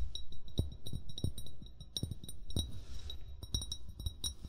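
Short fingernails and fingertips tap rapidly and irregularly on an upright, hollow amber (brown) glass bottle. Each tap gives a dull, low thump with a bright glassy click and a very short ring.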